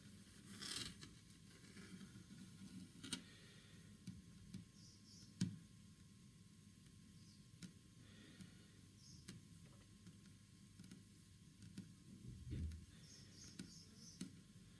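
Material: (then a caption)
Wood. Fingertips and short nails tap rapidly on a large, flat, solid green-stained wood-grain panel. The quiet, low-pitched taps are short and dull, with no ring, over a faint scratchy hiss, and a few taps stand out louder than the rest.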